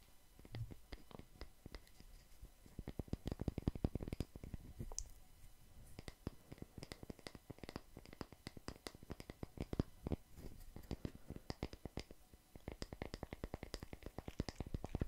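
A small round slice of solid tree trunk with bark on its edge, used as a coaster, is held in the hands while fingertips tap and scratch its cut face. Soft, dry taps and clicks come in quick irregular bursts with faint scratching between them. The sound is quiet and low-heavy, and each tap dies away almost at once.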